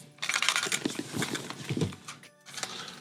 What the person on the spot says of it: it sounds like metal clips